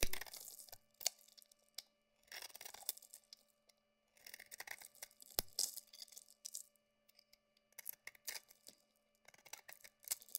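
A solid bar of soap, mostly shaved down to a cream-white core, is held in the hand and scraped and carved with a utility knife blade, cracking off chunks. Bursts of bright, dry scraping and crunching alternate with sharp cracks and short pauses, over a faint steady low hum.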